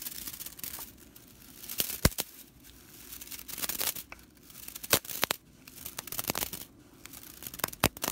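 Both hands with long nails scratch and rake the fanned-out dry straw bristles of a whisk broom lying on a table. The result is dry, crackling rattles and bright scratchy rustles that come in uneven bursts, with a few sharp clicks and quieter gaps between passes.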